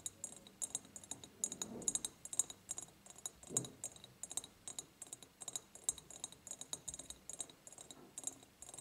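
Fingernails tap and scratch on the ribbed sides of an empty, medium-sized clear glass jar. Many quick, bright clicks with almost no ring form an irregular patter, broken by brief softer scraping rasps.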